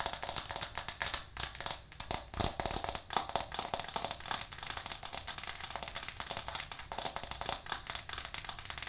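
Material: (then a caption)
Plastic. A white plastic cutting board with green edges, held up in both hands, is tapped quickly and forcefully with long nails. The result is a dense, rapid stream of sharp, bright clicks that die away almost instantly, giving a crackling, rattling texture with very little low end.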